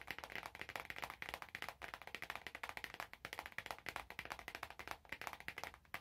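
Long nails rapidly tap a small, hollow, glossy orange cardboard perfume box held in both hands. The result is a quick, steady run of crisp, dry clicks with a bright, papery edge. Each tap dies away almost at once, with barely any low end.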